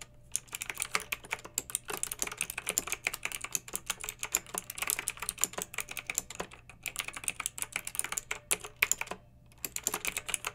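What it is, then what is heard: Plastic mechanical keyboard. Long red-nailed fingertips type steadily on a pink mechanical keyboard with round retro plastic keycaps and blue backlight. The bright, sharp plastic clicks come in fast, dense runs with very short ring, broken by brief pauses near 6.7 and 9.2 seconds, over a faint low hum.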